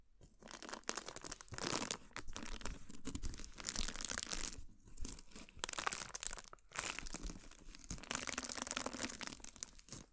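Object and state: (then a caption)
Cardboard gift box scratched with nails. Long nails scratch a large, hollow, heart-shaped cardboard gift box with a heart pattern as it is held in the hands. Bright, rasping scratches come in long strokes and bursts with brief pauses, and the hollow box adds a dry, papery crinkle.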